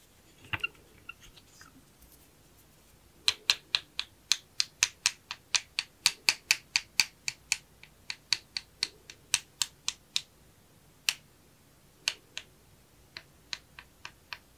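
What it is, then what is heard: Plastic sunglasses. Small hollow sunglasses with a purple plastic frame and mirrored lenses are tapped and scratched up close with a thin wooden stick and fingernails. A few soft scratches are followed by a long run of sharp, bright clicks with very short decay and many separate taps, some in quick bursts and others spaced apart.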